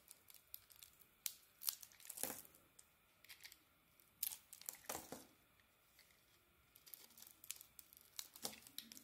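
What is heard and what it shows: A solid pink bar of soap with a brown striped outer layer, held in the hand, is carved with a utility knife that shaves off the brown layer and pink chunks. Quiet, crisp, bright scraping and crumbly cutting sounds come in short bursts, with a few louder strokes among softer ones.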